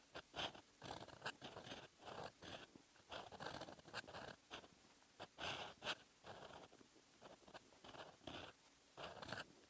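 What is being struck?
Metal fountain pen nib on a lined paper notebook page.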